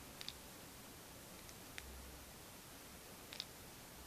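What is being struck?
Plastic paint marker with a mixing ball inside.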